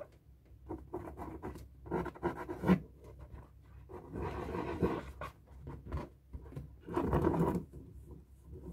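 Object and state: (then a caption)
Latex balloon scratched with a marker. A felt-tip marker draws loops on the stretched rubber of a hollow, light blue inflated latex balloon held in the hand. Soft scratching and squeaky rubbing come in uneven bursts, with low, muffled thuddy resonance from the balloon and louder swells near the middle and end.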